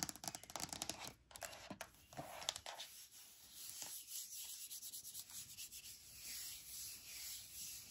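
Long painted nails and fingertips rub and scratch across the flat, smooth lid of a medium white plastic lidded box, which is probably hollow. Busy, bright scratching with sharp nail strokes fills the first few seconds, then eases into a softer, steady hiss of rubbing. The sound is mostly high and airy, with almost no low end.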